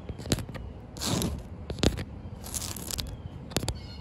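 Fingertips and long white nails tap and scratch a large, solid, wet concrete slab on the ground, recorded close up. Sharp, bright clicking taps fall at an irregular pace, with longer gritty scraping hisses in between. The taps are dry and short, with almost no ring.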